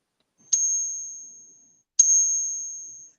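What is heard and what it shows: A round piece of copper is pinged twice as a reference for how fake silver eagle coins sound. Each strike gives a sharp tap followed by a high, thin whining ring that fades slowly over about a second.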